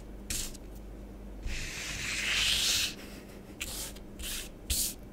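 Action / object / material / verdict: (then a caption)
scrape / powder on a plastic tray / powder / none. Fingertips and long nails rub and sweep through orange bath bomb powder on a grey plastic tray, erasing letters. Short, bright, scratchy bursts alternate with one longer, hissing sweep, all over a faint, steady low hum.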